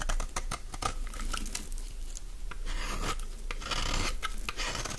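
A dry, solid green bar of soap rests in the palm while its flat face is scraped with a utility-knife blade. The result is a steady, crisp rasping scrape with bright, brittle crackles and short flurries that swell louder near the end.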